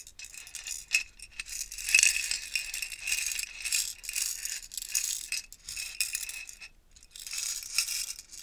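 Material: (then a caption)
Glass beads. A clear plastic stacking jar tower, partly filled with small purple and coloured glass beads, is held in both hands with long nails, shaken and tilted, then turned upright. The beads give a bright, high, dense rattle in repeated waves, with a sharp clack near the start of the louder middle stretch and almost no low end.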